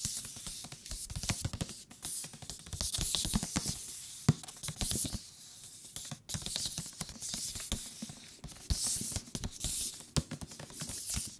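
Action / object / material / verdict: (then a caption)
tap / thick paper book / paper / none. A thick paper book is tapped with the fingertips on its cover and along its edges. The rapid, irregular taps give dull, low thumps with a bright, papery crackle and die away almost at once. The top and bottom edges sound different from each other, even though the thickness and material are the same.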